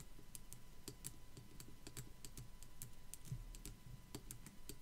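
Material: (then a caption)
Plastic. Long black acrylic nails tap and scratch a small white molded skull decoration from Dollar Tree, likely hollow plastic, with raised swirl and spiderweb details. Quick, dry, bright clicks land in a steady, uneven rhythm over a soft low rumble and faint scratching, each tap fading almost at once.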